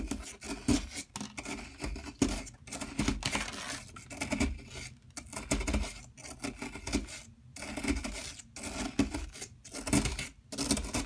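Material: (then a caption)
Plaster. A metal tool scrapes and chips the top surface of a large solid yellow plaster excavation block held in place by a hand with long metallic nails. Short bursts of gritty, rasping scratches repeat with brief silent gaps, giving a dry, broadband scraping texture with a low-mid body and little ring after each stroke.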